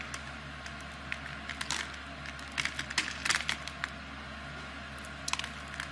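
A knife blade scrapes small cubes off a solid, palm-sized blue bar of soap with an embossed logo, scored in a grid, as long dark nails show near the bar. Bright, crisp crackles and snaps come in uneven bursts over a steady low hum, clustering in the middle of the clip. The carved cubes break off with short, sharp cracks that die away quickly.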